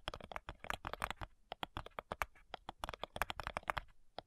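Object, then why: Thin wooden cigar box. Long nails tap and scratch the front side of a flat, light, hollow wooden cigar box. A rapid, irregular run of short, dry clicks with a woody resonance around 1.1 kHz, each dying away almost instantly. Faint scratchy rustles fill the gaps between taps.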